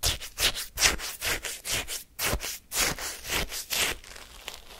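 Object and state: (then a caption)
Shaved-ice sorbet scraped with a wooden spoon. A wooden spoon digs into and scrapes the icy granules of lemon shaved-ice sorbet in a paper cup held in hand. It makes about a dozen bright, crunchy scraping strokes in an uneven rhythm, fading to a quieter rustle at the end.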